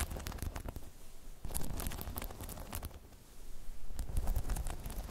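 Long chrome nails tap on a hollow, spiky rubber half-dome balance pod, then grip and scratch its sides. The result is a rapid, uneven run of dull, low thumps and rubbery scraping with brief bright clicks, dipping quieter midway before growing louder again toward the end.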